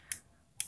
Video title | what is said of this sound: Lampu RGB spektrum buat speaker | kalau kita ketuk kayak gini itu kokoh ya, terdengar dari bunyinya itu nggak kopong